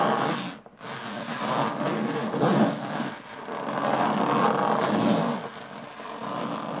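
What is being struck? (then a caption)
Small aluminum case with textured metal lid. Long fingernails slowly scratch the textured metal lid of a small, hollow aluminum briefcase. The result is a continuous, raspy scraping that swells and fades, with a brief pause early on and a hollow, low-mid body under a soft, bright hiss.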